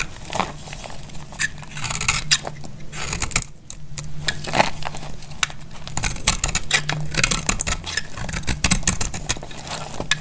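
A utility knife blade cuts and scrapes a solid, oval, pale blue dried soap bar held in the hand, shaving it into crisp flakes. Many short, dry, crackling scrapes and snaps with bright high edges come in quick succession over a low steady hum.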